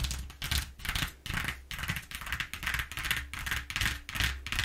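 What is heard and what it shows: Long nails scratch and tap along the exposed ridges of a flat brown corrugated cardboard sheet lying on a table. The result is a series of bright, dry rasping strokes that swell and fade in an uneven rhythm, with soft low thuds underneath.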